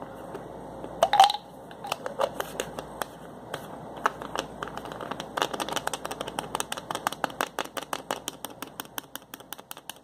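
Fingers twist and click the plastic cap of a small white plastic pill bottle with a label, producing a long run of sharp, bright plastic clicks and ratcheting ticks. An early louder burst carries a brief mid-pitched tone, then the clicks come faster and denser toward the end.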